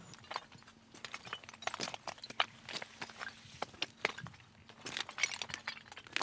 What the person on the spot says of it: 자갈 대신 깔아놓으니 소리가 참 좋습니다.